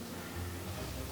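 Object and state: Nothing is struck.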